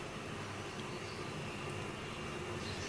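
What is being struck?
Nothing is struck.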